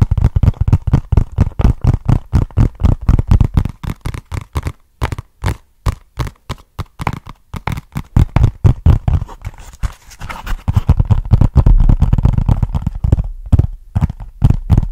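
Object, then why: Small flat cardboard box. Fingernails scratch and tap on a small, flat, brown cardboard box with a barcode label, held close to the mic. The hollow box gives quick, irregular, dull low thuds that die away almost at once, with a short stretch of continuous scratching near the end before the tapping resumes.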